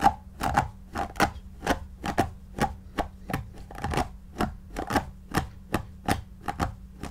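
A white paddle brush with pin bristles is drawn in quick strokes through the long synthetic shag fibres of a soft, stuffed, shaggy faux fur pillow. Each stroke gives a short, soft, scratchy brushing swish with a mid-range tone and bright fibre rustle. The strokes repeat at a steady rhythm over a faint, constant low hum.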